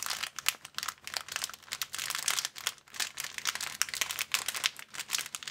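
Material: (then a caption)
Plastic. An empty, thin, clear transparent plastic bag is crumpled and crinkled by hands. The result is a dense, continuous stream of sharp, bright crackles and rustles with almost no low end. Each crackle dies away almost instantly.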